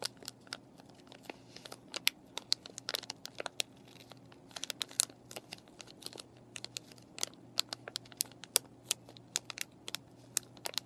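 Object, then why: Plastic blister pack with cardboard backing. Long painted nails tap, scratch and crinkle a clear plastic paintbrush package with a cardboard backing and brushes inside. Quiet, rapid, sharp clicks and bright crinkles come in irregular bursts over a faint steady low hum. Each tap is dry and dies away almost instantly.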